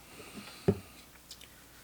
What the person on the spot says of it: also upside about this Sabre is if you shake it you hear nothing